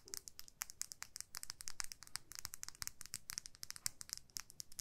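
Long nails scratch and tap along a small clear plastic lip gloss tube filled with pink gloss, held horizontally. The result is a quiet, rapid stream of bright, crisp clicks and scratchy ticks that die away almost instantly, over a faint low rumble.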